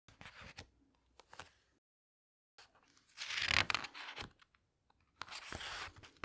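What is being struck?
Glossy paper pages of a hardcover book.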